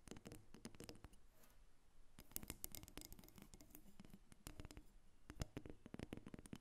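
Long nails tap and scratch a solid carved wooden dolphin figurine, about 25 cm long, resting on a glass table. The result is a quiet, rapid run of dry, short clicks and scratchy strokes with little ring, with the energy mostly in the low range.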